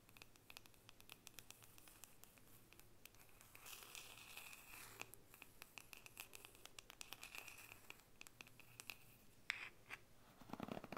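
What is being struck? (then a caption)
Wooden paddle hairbrush back. Long painted fingernails scratch and tap the solid, flat wooden back of a hand-sized wooden or bamboo paddle hairbrush held up in the other hand. The sound is a quiet, bright, dry stream of scratching and quick clicking taps, with a faint steady tone near 2.2 kHz. A few sharper taps stand out near the end.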